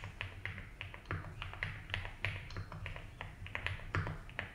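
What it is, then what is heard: Mechanical keyboard with ABS plastic keycaps. Fingertips of both hands type fast, repeated key taps on a compact blue and white Rainy75 mechanical keyboard with doubleshot ABS keycaps on a polycarbonate plate, resting on a felt desk mat. The keystrokes land as short, crisp clacks in an uneven rhythm, each dying away almost at once. A steady low hum sits underneath.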